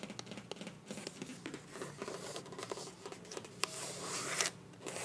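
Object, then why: Soft plastic lip gloss tube. Long nails tap and scratch along a slim pink translucent soft plastic lip gloss squeeze tube that is hollow and partly filled. A rapid series of sharp, bright clicks mixes with crinkly, papery scratching over a faint low hum. The taps stop dead with no ring, and a hiss of scratching swells near the end.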